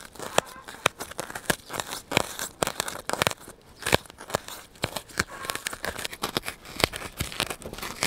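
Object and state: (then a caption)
Styrofoam block being scratched and pierced. A solid white polystyrene foam block is held beside the microphone while its surface is scratched and pierced by hand with a needle. The result is a rapid, uneven series of sharp, dry crackling and squeaky tearing bursts, bright and crunchy with little low end. Each burst cuts off almost instantly between short scratchy gaps.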